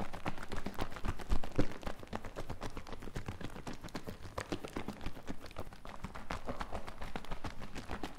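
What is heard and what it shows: A medium plastic mouthwash-style bottle, partly filled with green liquid with white foam on its surface, is held in the hands and shaken. The liquid sloshes in a quick, uneven, continuous rhythm of soft low thuds and splashes, loudest in a few bursts near the start before settling into steady churning.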